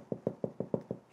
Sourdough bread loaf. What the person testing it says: you give it a tap like that it should sound hollow